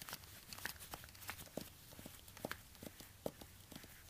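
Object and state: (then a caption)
Suede high-heel ankle boot. Fingertips in orange rubber gloves tap and scratch a black suede high-heel ankle boot held up in the hands, working over both the suede and the sole while a second shoe sits untouched nearby. Quiet, short, dry taps land irregularly over soft scratchy brushing, with bright crinkly edges and a little low rumble underneath.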